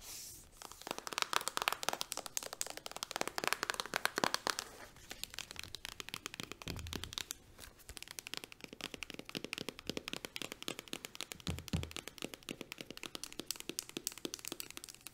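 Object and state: Plastic hand cream tube.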